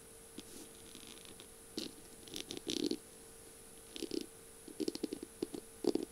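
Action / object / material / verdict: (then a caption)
tap / bead-covered pen barrel / beads / none. Long glittery pink nails tap and scratch the beaded barrel of a slim bead-covered feather pen with a metal tip and pink feathers, lying on a flower-print surface. Quiet bursts of short, dry clicks and gritty scratching rattles come in irregular clusters. A faint steady hum and a high whine sit underneath.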